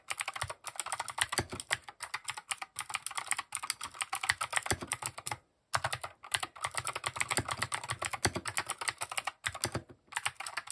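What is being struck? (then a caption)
Plastic mechanical keyboard. Fingertips type continuously and quickly on a compact mechanical keyboard with cream, grey and orange plastic keycaps and RGB underglow. The result is a dense stream of short, bright plastic clacks with little low end, broken by a few brief pauses.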